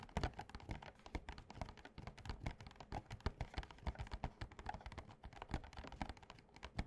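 Fingertips and short nails of both hands tap quickly on a small, printed, glossy cardboard Yu-Gi-Oh Slifer structure deck box that is filled with cards and lying flat on a playmat. The result is a dense, steady stream of soft, hollow thuds, weighted low with a faint bright click on top. Each tap dies away almost instantly.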